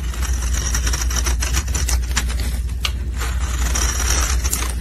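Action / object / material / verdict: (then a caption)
scrape / bar of soap scraped with a metal blade / soap / none. A metal utility blade scrapes a solid pink soap bar held in gloved hands, shaving off powdery flakes. Dense, bright scratchy crackles repeat throughout over a steady low hum.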